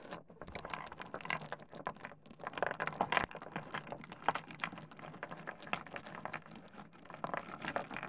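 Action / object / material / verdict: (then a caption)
scrape / pile of small stone pebbles / stone / none. Fingers pick up, rub and clack a pile of small solid stone pebbles against each other on a wooden desk. Dense, rapid clicks and sharp clacks mix with gritty rubbing scrapes, each tap short and bright with almost no ring. A steady, crisp patter runs through the whole clip.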